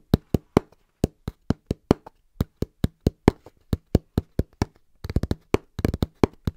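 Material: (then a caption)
Cardboard. Hands tap fast and rhythmically on a cardboard box, producing short, dry, dull thumps with almost no ring. The taps come in an evenly spaced pattern, then bunch into quicker, denser bursts near the end.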